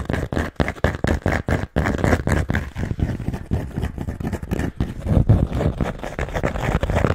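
A round, thick, solid cork coaster held in the hands close to the mic is scratched and tapped with long manicured nails. Quick, dull, low-heavy bursts of scratching and tapping come in rapid succession with short gaps at first. They then run together into denser, steadier scraping with little brightness or ring.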